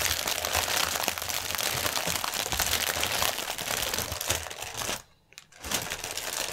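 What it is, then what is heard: Plastic air pillow packaging. Both hands press, tap and crinkle a long strip of clear, hollow, air-filled Sealed Air plastic air cushions lying on a white table, using fingertips and painted nails. A dense, bright, continuous crinkling with quick crackly taps fills the clip, breaks off into near silence for about half a second around the five-second mark, then resumes.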